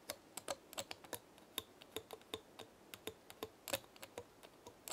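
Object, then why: Small pinecone. Long nails flick and scratch the scales of a small dry pinecone held in the hand, producing around two dozen quick, dry, bright clicks at an irregular pace. Each click is crisp and dies away almost instantly, with faint scratchy rustling between them and very little low end.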